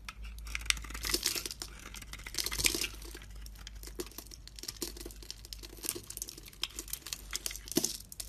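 A utility blade scrapes chunks and flakes off a solid bar of soap, red glitter outside and white inside, held in one hand. Bright, dry crinkling and crunching scrapes repeat closely, with stronger bursts near the start and sharp clicks throughout.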